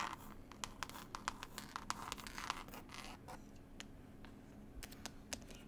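A textured cloth-covered CD case is scratched and tapped with long pointed nails close to the microphone. Brief, sharp taps punctuate a continuous rough, gritty scratching, with a faint steady hum underneath.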